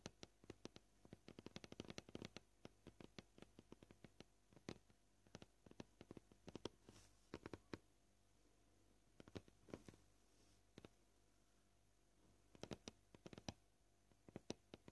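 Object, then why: Plastic cutting board. Short fingernails tap a flat, solid white plastic cutting board in quick clusters of soft, dry clicks, the pace shifting between rapid bursts and sparser taps. Each tap is brief with almost no ring, and the tapping pauses briefly midway before resuming in scattered groups.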